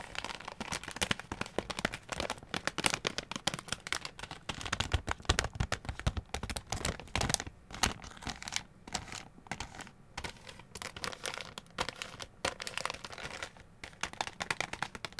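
Long gold claw nails scratch and crinkle a small white plastic resealable zip bag with a barcode label that holds packaged press-on nails. Dense, bright crinkling and scratchy taps run continuously, with short crackling bursts and no ring after each contact.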